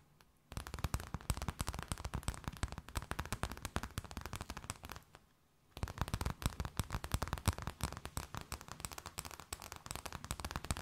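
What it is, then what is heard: Thin plastic bag. A thin, empty, clear plastic bag held between both hands is tapped, scratched and crinkled with long nails, making rapid, dense crackling with soft low thumps and bright crinkly edges. The crackling runs in two long bursts separated by a brief quiet pause near the middle.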